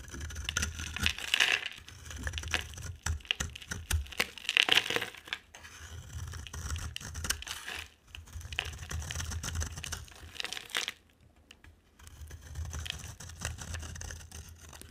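A utility knife blade shaves and scrapes a solid, dry oval bar of purple soap with an orange and dark coating over its purple interior. The result is dense, crisp scratching and crumbly crackling with bright, high-pitched rasps and a low rumble beneath. There is a short near-silent gap around the eleventh second before the scraping resumes.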